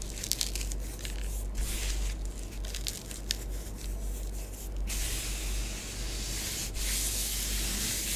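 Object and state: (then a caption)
Bath bomb powder scratched on a tabletop. Long nails rub and trace circles through orange bath bomb powder spread on a tabletop, making a dry, gritty scratching with a bright hiss. For the first five seconds the scratching comes in short, uneven strokes, then it settles into a steadier, continuous sandy swish over a faint low hum.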